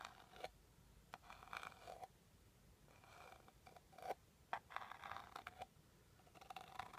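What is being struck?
Small rigid cardboard box.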